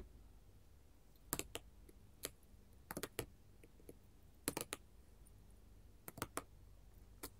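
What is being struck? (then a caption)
Glass mosaic tile sheet. Long gold metal filigree finger claws tap and rub a solid sheet of small colored glass mosaic tiles resting on a table. Short, sharp, bright clicks come in irregular little clusters, each dying away almost instantly over a faint low background hum.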